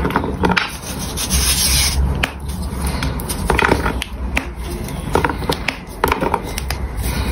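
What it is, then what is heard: Gym chalk block crushed by hand. A solid pink gym chalk block is held in both hands and rubbed and crushed by the fingertips until it breaks apart into pieces. A steady dry rubbing and grinding is heard, punctuated by many short crisp cracks and crumbles.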